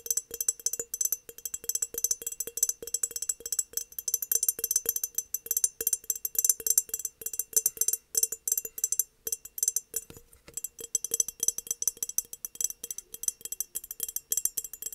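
Long nails tap rapidly and continuously on the sides of an empty, hollow, embossed glass mason jar standing upright on a desk. The taps are short, bright clicks with almost no ring, over a faint steady tone near 500 Hz. There is a brief lull around the ten-second mark.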